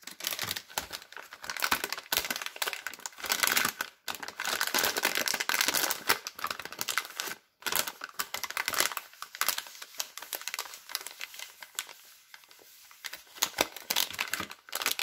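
Fingertips with long red nails crumple and crinkle the yellow and blue printed glossy plastic film wrapper of a hand-sized children's soap multipack with soap bars inside. The result is dense, bright, crackly crinkling with sharp ticks and tearing-like rustles. There are brief silent gaps near 4 and 7.5 seconds, and the sound grows sparser and quieter toward the end.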